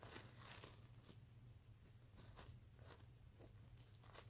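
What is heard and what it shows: Fingernails scratch across a soft stuffed mermaid unicorn plush pillow covered in reversible plastic sequins, flipping them over to show the silver side. Bright, dry scratching and crinkling bursts come in quick sweeps over a steady low hum. The sequins rasp and click briefly as they flip, with no ring afterward.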